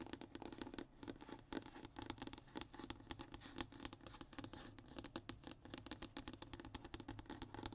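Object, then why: Thin hardboard (fiberboard) panel. Short fingernails on both hands scratch and tap a flat, thin brown hardboard (MDF/fiberboard) panel. The result is a quiet, steady stream of rapid, dry scratches and light taps that die away almost instantly, with a faint low hum underneath and bright, crisp scratch texture on top.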